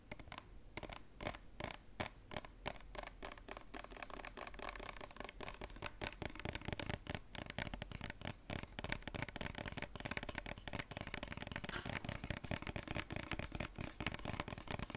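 A white lotion bottle, likely plastic, held upright, is scratched and tapped with fingernails. It makes a rapid, dense run of dry clicks and scratchy taps that stop almost instantly, with some low body thump under brighter crackle. The tapping keeps a steady, busy pace and gets slightly louder over the clip.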